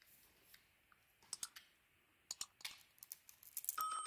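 A utility knife blade carves and scrapes the outer layer off a solid, hand-sized purple bar of Cleopatra soap with dark stripes, held in a palm with long dark nails, exposing the cream-colored inside. Around a dozen quiet, crisp, bright clicks and short scratchy scrapes sound, with little low end and almost no ring. The cuts grow denser toward the end.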